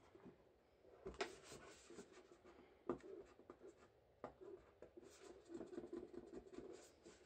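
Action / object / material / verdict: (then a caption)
scrape / tin-plate biscuit tin / tin-plate / none. Gloved fingertips scratch and rub across the lid of a large, flat, rectangular printed tin-plate shortbread tin, which is full and hollow and held tilted. Soft, dry scraping and brushing noises are broken up by sharper tapping clicks, with a faint hollow metallic tone in the lower midrange.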